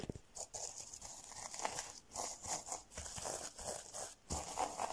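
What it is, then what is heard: Plastic sequin fabric. Fingertips rub, scratch and flip rainbow and silver plastic sequin fabric stretched over a soft padded object. The result is a run of bright, crisp rustling and scratchy bursts with short quiet gaps between strokes, plus a light tapping texture and little low end.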